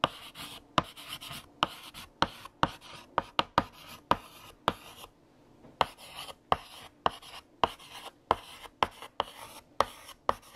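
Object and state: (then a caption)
Chalk writing on a blackboard. A hand writes on a large flat black chalkboard with a light green chalk stick until the sentence is finished. The chalk makes short, bright scratching strokes with sharp tapping onsets between them and a brief pause midway.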